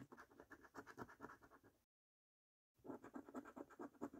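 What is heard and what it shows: A coin scratches the latex coating off a thin, flat paper scratch card in quick, rasping strokes. The dry scraping sits mostly in the low-mid range with faint bright flecks above. The strokes stop for about a second of silence, then resume just as briskly.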